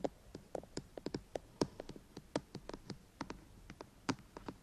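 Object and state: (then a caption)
Tapping and scratching on a plastic microphone housing. Fingertips and nails tap and scratch along the top and front of a white, hollow plastic binaural microphone housing. The result is a quiet, irregular run of about two dozen short, dry taps with hollow low-mid knocks and bright clicky edges. Each tap dies away almost instantly over a faint background hiss.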